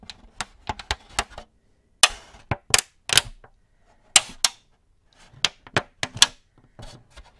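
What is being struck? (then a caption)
Thin clear plastic cookie tray. An empty, thin clear plastic cookie tray with many molded cavities is held in both hands while fingertips and nails tap and squeeze it so it crinkles. The result is a series of sharp, bright clicks and crackling crinkles in uneven bursts, centered around 2.9 kHz with almost no low end. Each snap dies away almost instantly, leaving short silences between clusters.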